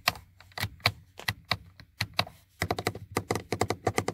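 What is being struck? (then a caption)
Plastic car door window switch panel. Fingertips and short painted nails tap and click the buttons of a hard, hollow black plastic power-window switch panel on a car door armrest. Sharp, dry clicks with a low hollow thunk come slowly at first, then in a quicker run of taps, each dying away almost at once.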